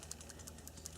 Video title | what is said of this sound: 7 x 4 Bandsaw Hydraulic Downfeed Mod: Part 2 | that's the ball moving back and forth